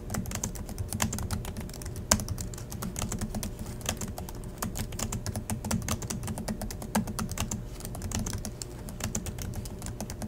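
Both hands type steadily on the black plastic chiclet keys of a silver Acer laptop resting on a desk in dim light. The result is a fast, continuous run of short, dry clicks with bright edges, over a low, steady hum.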